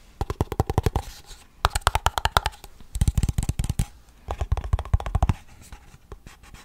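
A small Blue Bell ice cream cup with its lid, made of hollow waxed paperboard, is held close to the mic and tapped and scratched on its sides with fingertips and nails. Four bursts of quick, hollow, low tapping come in rapid runs, separated by softer scratching, and the clip ends with light, quiet scraping.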